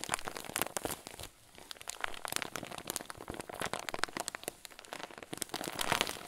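A clear zip-lock plastic bag full of white fluffy filling is pressed and squeezed with thumbs, giving dense, bright crinkling and crackling with many quick sharp snaps. There is a brief lull just after the first second, then the crinkles continue steadily and grow a little louder near the end.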